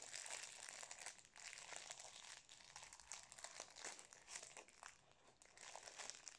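Fingers crinkle and rub the metallised plastic wrapper of a wrapped Napolitain cake, a foil-plastic snack wrapper. A dense, bright crackling of many quick, sharp rustles continues throughout at a quiet level, with almost nothing in the low end.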